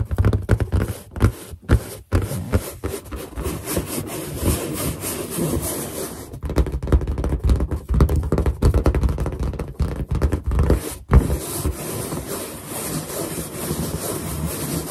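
A large, hollow, inflated white latex balloon is tapped and rubbed across its drawn surface with long nails. The result is a dense, low, muffled thumping and scraping mixed with many quick taps, broken by brief pauses.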